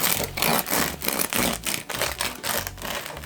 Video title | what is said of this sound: Полезный Амарантовый хлеб 🍞 How to make amaranth bread | Vous entendez comme ça craque ! Faites attention à la finesse de la croûte!